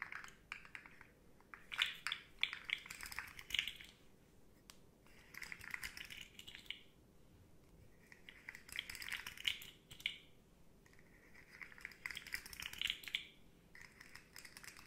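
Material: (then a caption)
Plastic. Long nails tap and click along the hollow segments of a rainbow, segmented hard-plastic articulated slug fidget toy while it is bent. Bright, dry clicks come in rapid clusters of rattling taps separated by short, quieter pauses, each click dying away almost at once.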